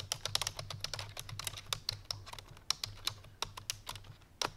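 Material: Plastic.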